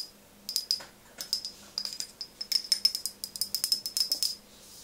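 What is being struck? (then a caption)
Glass pump bottle tapped with fingernails. A tall OSEA frosted glass bottle with a metal-look pump top, partly filled with liquid, is held in one hand and tapped rapidly with long nails on its front and sides. Quick bursts of bright, clicky taps come in uneven clusters with short pauses, each tap ringing with a high glassy ping and dying away almost at once.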